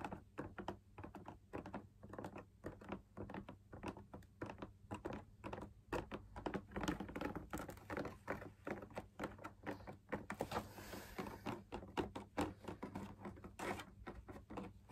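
Fingertips tap rapidly and steadily on the outer wall of a hollow, perforated, fabric-laminated drum lamp shade. Each tap is a soft, hollow, muffled thud that dies away almost instantly. The taps come in dense, uneven flurries for the full fifteen seconds, and a brief airy brush sounds around the tenth to eleventh second.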